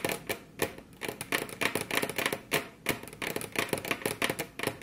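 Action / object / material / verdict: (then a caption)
tap / wooden table top / wood / none. Very long curved fingernails on both hands tap their tips against a flat, solid, glossy dark-brown wood-grain tabletop. The result is a quick, uneven flurry of dry, bright clicks that stop dead with almost no ring, some landing as quick doubled taps.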